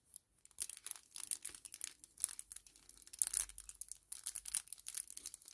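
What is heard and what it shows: A small, flat 10 ml kraft paper-plastic laminate sachet is held in both hands and crinkled and rubbed with the fingertips. The result is quiet, rapid bursts of crisp, bright crinkling with a papery, tearing-like texture, short gaps between them and almost no low end.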